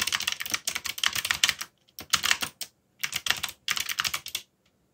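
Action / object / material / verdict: tap / plastic mechanical keyboard / plastic / none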